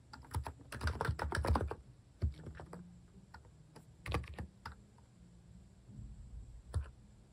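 A compact plastic mechanical keyboard with plastic cat-design keycaps is typed on steadily, with fingertips at its left edge. Quick, short key taps come in bursts, a dense run early on and then scattered clusters. The clicks are soft and low-heavy with a faint steady high hiss behind them.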